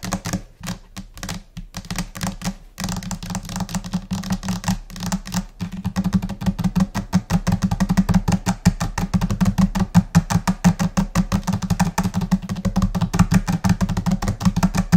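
Long orange acrylic-style nails on both hands tap rapidly and chaotically on a flat, solid white laminated desk top, likely laminate over particleboard or MDF. The dry, clicky taps have a low, dull thud and die away almost instantly. They start scattered with short pauses, then turn into a dense, steady patter from about six seconds on.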